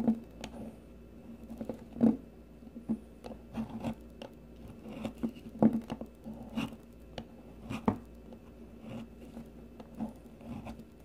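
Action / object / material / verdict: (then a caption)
scrape / bar of soap shaved with a metal peeler blade / soap / none. A solid, rounded green bar of soap is shaved with the metal blade of a blue plastic peeler. Short, dry scraping and crunching strokes come at an uneven pace over a faint steady hum, with occasional louder shaves standing out.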